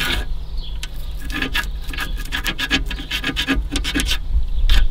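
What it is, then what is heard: Crumbling foam seal strip being scratched. Fingers vigorously rub and scratch along a deteriorated, crumbling white foam seal strip on the edge of a car radiator. The result is a rapid series of dry, rasping, crumbly scrapes with bright high hiss over a steady low rumble.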